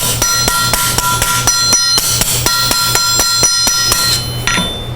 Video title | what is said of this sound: How to Use an Anvil in Your Metalworking Shop - Kevin Caron | the ring is back. And now it's straight. Now it's flat again.